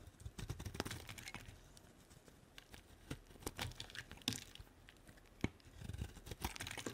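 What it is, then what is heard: Bar of soap being cut. A solid white faceted bar of soap, held in the hand, is cut into chips with a utility-knife blade. Dense, crisp scraping and crunching cuts come in bursts, with sharp bright snaps over a low rumble. The sound eases into softer shaving in the middle before the busier cutting returns.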